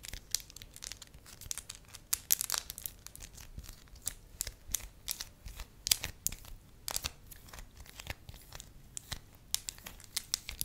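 Fingertips and long nails squeeze, fold and crinkle a hand-sized, pale yellow sheet of pliable wax. A steady run of sharp, bright crackles and tearing-like crinkles sounds over soft rustling, each snap dying away almost instantly.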